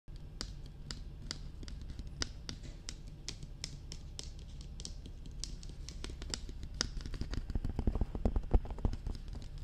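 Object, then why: Hard plastic dummy head microphone. Long red-painted nails and fingertips tap and scratch around the sides and ears of a life-size, glossy black, hollow hard-plastic dummy head binaural microphone. Quick, crisp clicks and taps come in an uneven patter over a steady low rumble, growing denser and louder toward the end.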